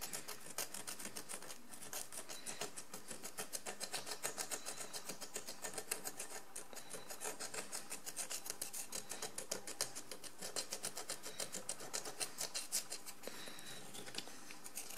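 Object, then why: Ceramic jar with crusted surface, scraped with a wooden stick. A wooden stick scrapes the crusted surface of a large encrusted ceramic jar lying on its side, using rapid strokes. The result is a steady, dense run of short, bright, raspy scrapes at a quiet, even level that lasts the whole clip.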